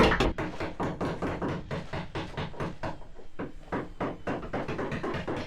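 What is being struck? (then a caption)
Fiberglass boat hull. A hammer taps rapidly across different areas of a sailing boat's fiberglass hull from inside, testing for delamination where the layers didn't bond or the glue failed. Roughly two dozen short, dull knocks sound in quick succession, each with a brief low-mid thud and little high-frequency ring.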